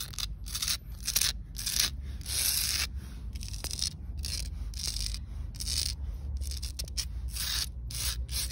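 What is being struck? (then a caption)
Concrete pavement. Long acrylic nails and fingertips scratch and rub across flat, solid outdoor concrete pavement dotted with lichen spots. Repeated bursts of bright, gritty scraping rise and fall over a steady low rumble.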